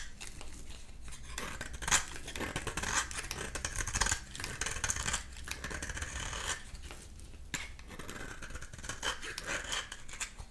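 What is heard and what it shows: A dry red oval bar of soap, held in the palm, is scraped with a metal utility knife blade, shaving off orange curls. A steady run of crisp, dry scraping and rasping strokes with bright, high hiss is heard, and the shavings come away from the bar.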